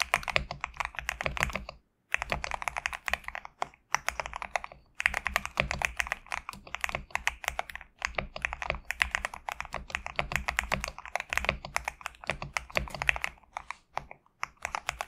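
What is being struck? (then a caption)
Mechanical keyboard with PBT plastic keycaps. Fingertips type continuously on a GMK67 compact mechanical keyboard with PBT plastic keycaps resting on a desk mat. Rapid, bright, clacky keystrokes land with short, dry clicks and no ring. Brief pauses fall around 2, 4, 5, 8 and 14 seconds.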